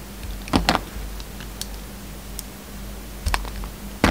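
A utility knife blade carves V-cuts into and scrapes a hand-held solid white soap bar with red flecks, giving short, crisp cutting and scraping strokes. The strokes come in quick bright bursts, with quieter ticks between them over a steady low hum.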